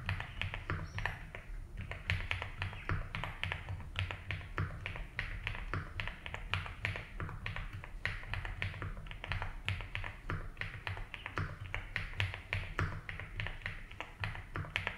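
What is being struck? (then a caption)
Mechanical keyboard with plastic keycaps. Fingertips type steadily on a compact 75% mechanical keyboard with a light blue case and white and blue ABS keycaps. The result is a continuous stream of short, dry, bright clacks with very little ring, over a steady low hum.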